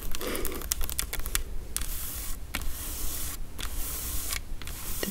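Long acrylic nails tap and scratch the paper label and steel body of a small, full food can with a ring-pull lid. Quick, uneven clicks mix with dry, broadband scratching and papery rasps over a low steady hum.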